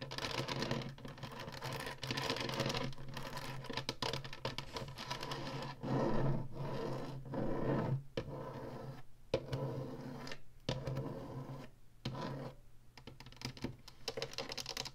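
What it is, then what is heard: Plastic game console tapped and scratched with nails. Long nails tap and scratch across the ridged top and buttons of a hollow plastic Atari retro game console. A dense run of quick, dry clicks and rasping scrapes comes in bursts separated by brief pauses, each sound dying away almost at once. A steady low hum sits underneath throughout.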